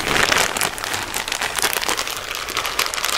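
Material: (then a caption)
Wood, plastic. A small clear plastic bag full of round, light wooden beads is held in both hands and shaken and squeezed so the beads rattle. The result is a dense, continuous, bright clatter mixed with plastic crinkling, like rain pattering on a surface, with almost no low end and a steady loudness throughout.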